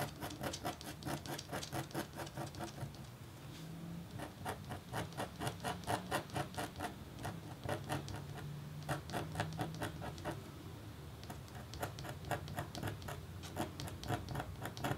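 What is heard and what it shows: A red-handled metal stylus scratches short lines into a flat, thin, black-coated copper-foil scratch-art board. It makes a quick, uneven run of soft, dry scratching strokes with crisp, bright ticks, roughly two per second. A faint low hum sits beneath the quiet scraping.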